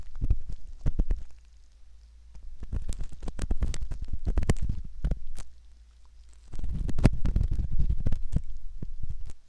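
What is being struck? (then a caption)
Metal ear pick on a silicone ear model. A curved metal ear pick scrapes and rubs the inner folds and canal entrance of a soft, skin-toned silicone ear model, likely the ear of a binaural microphone. Close, dense, irregular scratching and crackling rubs come in busy stretches, with two brief quieter pauses, and the sound is heavy in low rumbling tones.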